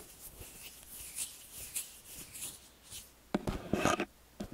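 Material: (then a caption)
Metal. Fingertips and nails scratch and rub the ridged metal capsule heads of a small X/Y stereo microphone with a hollow metal body. Soft, airy, brushing strokes with a bright hiss come first, then louder, sharper scraping taps close to the capsules, with short low thumps underneath.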